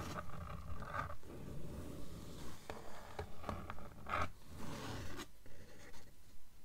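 Long nails scratch and tap the cover of a blue paperback book lying flat on a table. Soft, dry rasping strokes alternate with light, muffled taps in a fairly steady rhythm, with most of the sound low and dull and little brightness.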